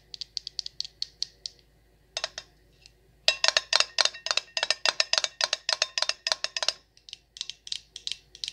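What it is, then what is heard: Glass candle jar tapped with nails. Long nails tap the glass sides of a Champagne Toast glass jar candle full of wax. The taps are bright, dry, high-pitched clicks with almost no ring, coming in quick, uneven bursts. A light run is followed by a brief lull, then a louder, denser flurry that eases off again.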